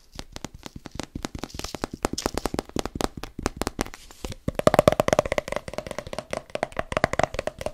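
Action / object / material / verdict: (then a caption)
tap / plastic supplement tub with lid / plastic / none. A medium plastic pre-workout tub with a white plastic lid, which looks hollow, with its fill level not visible, is handled and tapped with the fingertips on its body and lid. Dozens of quick, dry taps come in rapid bursts, with a brief pause just past four seconds. After the pause the tapping grows louder and brings out a hollow ringing tone around 600 Hz.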